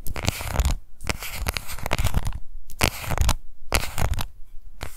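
Long nails scratch the base and rim of a small pink plastic cushion foundation compact gripped in both hands. Bursts of dry, bright scratching alternate with brief pauses, over a steady low, rumbly handling noise.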